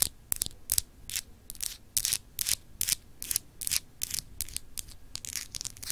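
Long acrylic nails scratch across a small, solid, clear glass globe paperweight with etched continents. The result is an uneven run of short, bright, hissy scrapes with almost no low end, each one dying away quickly.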